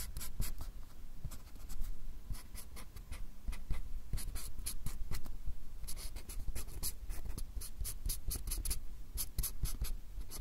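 A fine-tip pen makes rapid hatching strokes across a small, solid white paper or card pad held close to the recorder. The clip is a dense run of short, bright scratches over a steady low rumble.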